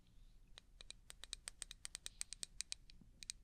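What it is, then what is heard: Small glass jar, fingernail taps. A small, clear, hollow glass jar, apparently empty and held in one hand, is tapped and scratched by the long painted fingernails of the other hand. Twenty quick, bright clicks ring high and die away almost at once, over a faint scratchy hiss.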